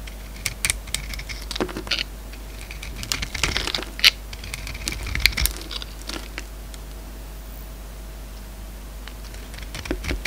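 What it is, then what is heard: Bar of soap being shaved. A solid green bar of soap held in the palm is shaved along its face with a utility-knife blade, making repeated short, dry scraping cuts as chips fall away. The crisp, crackly scrapes are bright and come in uneven bursts over a steady low background hum, with quieter stretches between them.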